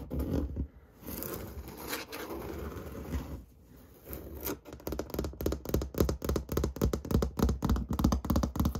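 Fingernails tap and the whole hand scratches across an interior wall of textured white paint, probably drywall. Continuous dry scraping with short pauses comes first, then a fast, fairly steady run of crisp nail taps, each one dull with a low thump and very little ring.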